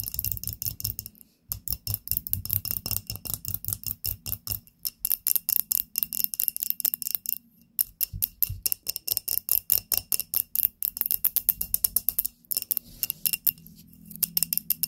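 Long nails tap rapidly on a small glass candle holder filled with pink wax and holding a lit candle. The taps come in quick, bright, clicky bursts with almost no ring and a faint low body, separated by brief pauses.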